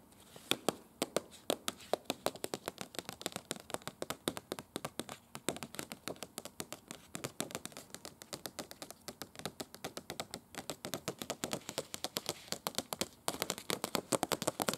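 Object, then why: Glossy paper brochure. Long acrylic nails tap rapidly on the pages of an open glossy paper brochure with red text, held and lying on a bed. The result is a fast, steady stream of short, crisp, dry taps with a bright papery edge and almost no ring, briefly pausing just past 13 seconds before resuming.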